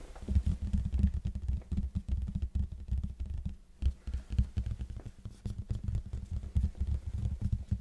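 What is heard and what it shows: Fingertips of both hands tap and scratch rapidly on the plain red face of a large, hollow cardboard box held in front of the mic. The result is a dense stream of soft, boomy low thumps, with a deep resonance around 70 Hz, that die away almost instantly. Faint, bright scratchy ticks sit over the thumps.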